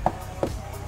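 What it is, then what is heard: Solid-backed car bumper. Two short knocks on the front bumper of a Honda Estilo EG6 give dull, solid thuds with almost no ring. They sound solid because a Japanese-market iron apron is fitted inside the bumper, where a bumper would usually sound hollow.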